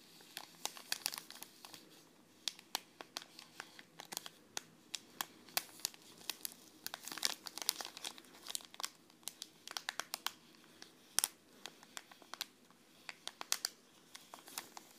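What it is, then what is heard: Foil tea sachet. Long red nails scratch a small green Kusmi Tea foil-laminated sachet with a tea bag inside, while fingertips squeeze and crinkle it. The result is a dense, quiet run of sharp, bright crackles and crinkles that stop instantly, with almost no low end.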